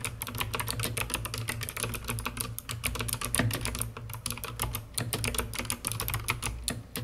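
Fingertips with long red-painted nails type rapidly on a COX CK900 S2 full-size mechanical keyboard with white plastic keycaps, a hollow dark plastic case and purple LED lighting. A dense, steady stream of bright, clacky keystrokes with short decays rides over a constant low hum.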